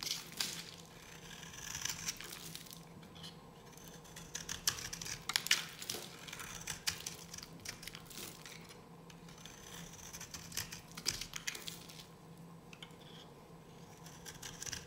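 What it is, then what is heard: Dry bar soap being carved. A solid, dry yellow bar of soap held in the hand is carved with a metal blade. Bright, crisp scraping and crumbly crackling come in short bursts over a low steady hum, as thin flakes are cut and scratched from the bar.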